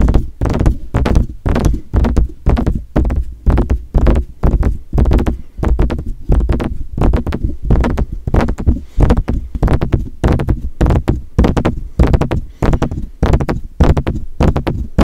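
Fingertips tap quickly and repeatedly on the hollow metal body and mesh grille of a silver metal USB microphone in the Blue Yeti style. The taps come in an irregular, rapid stream of dull, deep, boomy thuds that stop almost instantly with no ring.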